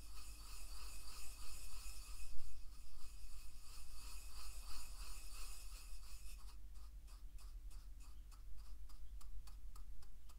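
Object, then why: Wooden mortar and pestle with salt. A wooden pestle grinds salt in a carved, hollow wooden mortar held in one hand, making a steady rubbing, rasping sound. After about six seconds the grinding turns into quicker, rhythmic scraping strokes with bright grit, over a constant low hum.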